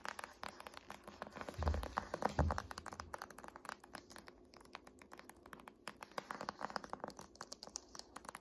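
Long painted nails and fingertips tap and scratch the glossy front cover of a large, thick, solid "Art History" hardcover paper textbook resting on a lap. Quick, irregular clicky taps and short scratches patter throughout, with a couple of fuller, deeper thumps near the two-second mark. The sound stays quiet and dry, with no ring after each tap.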